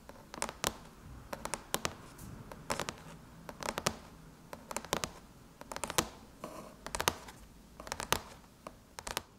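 Long chrome nails tap and scratch across the closed lid of a silver aluminum MacBook. Clusters of short, sharp metallic clicks with bright, crisp tails come in quick bursts over a soft scratching hiss, with brief pauses between bursts.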